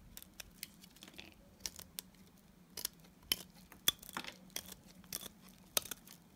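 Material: Soap.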